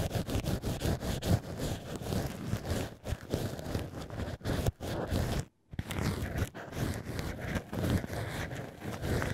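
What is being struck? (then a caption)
Cork wine stopper scraped with a thin pick. A black ear pick scrapes inside the hole of a cork wine-stopper "ear": cork stopper pieces with holes held in a plush holder. Steady, dense scratching and rustling, mostly low and muffled, runs throughout with a few brief pauses, including a short silence near the middle.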